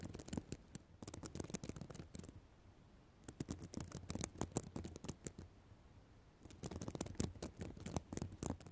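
Long black nails scratch a notebook cover made of plastic reversible sequins. Three bursts of rapid, crisp clicking and scratching, bright at the top with a soft low thump underneath, are separated by two short quiet pauses.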